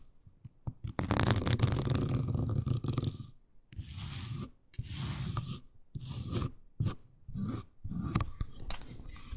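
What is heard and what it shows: Long nails scratch and rub the fabric-covered seat and arms of a miniature beige faux suede toy couch. The result is bursts of dense, low-weighted scraping and crunchy rustling, broken by short silent gaps, with a few quick, sharp ticks between strokes.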